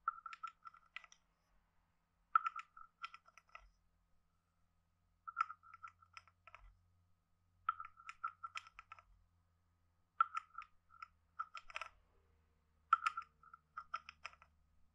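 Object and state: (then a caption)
Wooden frog guiro scraped. A hand-sized hollow carved wooden frog guiro with a ridged back is held in one hand and scraped along its ridges with a wooden stick. It makes short bursts of rapid, dry, woody clicks with a hollow ringing tone near 1.3 kHz and bright crisp edges, each burst separated by brief pauses. The clicks stop dead with no lingering ring, and the overall level is quiet.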